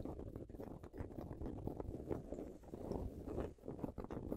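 A large soft throw pillow with a red and white patterned fabric cover is hugged and scratched with fingernails and fingertips. The result is a continuous, muffled, low-pitched rustle of dense scratching and rubbing, with soft irregular bursts and little high-end brightness.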